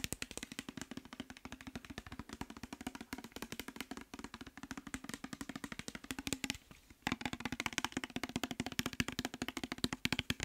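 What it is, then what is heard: Plastic cosmetic bottle, partly filled. A partly filled clear plastic micellar water bottle with labels is held in the hand and tapped quickly with fingertips and nails. The result is a dense, steady stream of short, dry clicks with a hollow plastic tone, pausing briefly near the seven-second mark before resuming.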